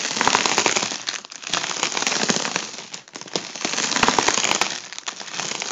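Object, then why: Air-filled mylar foil balloon. A fingertip taps and scratches the taut foil of an inflated tubular section of a gold mylar foil balloon, which is hollow and air-filled. The result is a dense, bright, crackling patter of quick, irregular taps and scrapes, easing briefly around 1 and 3 seconds before picking up again.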